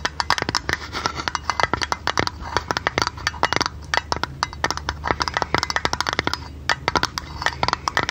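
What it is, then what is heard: Thin tinplate lid tapped with fingernails. A thin, hollow printed blue tinplate lid from a tea canister, held in the hand, is tapped rapidly with long red nails. About forty quick, bright metallic clicks come in an uneven, flowing rhythm, each with a brief tinny ring centered around 1.3 kHz that dies away almost at once.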